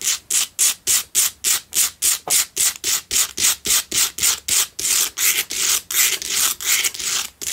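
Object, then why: Pink salt tealight holder scratched with fingernails. Long nails scratch the base and top rim of a pink Himalayan salt single tealight candle holder in quick, steady strokes, about three to four per second. Each stroke is a bright, gritty, high-pitched rasp with almost no low end, and the strokes blur into a more continuous scraping near the end.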